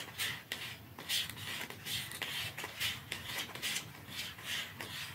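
A small, narrow, dark cardboard mascara box is held upright in both hands while fingertips and nails scratch and rub its sides. The result is a series of bright, dry, papery scratching strokes coming at an uneven, unhurried pace.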